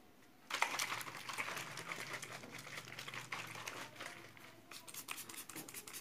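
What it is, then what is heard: Plastic bottle being crinkled. A medium, hollow, clear PET plastic bottle, tinted blue or holding blue liquid, is held in one hand and gripped and crinkled by the fingers. After a brief quiet start, a dense run of bright, crackling crinkles fills the clip, easing slightly near the end before a few sharper snaps return.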